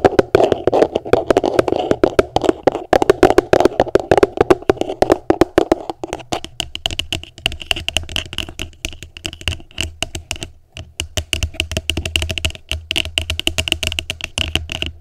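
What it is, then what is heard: Empty plastic container. Long nails tap rapidly on an upside-down, empty, hollow translucent plastic tupperware container, making quick, dry clicks with a hollow mid-range resonance. Partway through, the tapping turns lighter and brighter, with a faint low hum underneath.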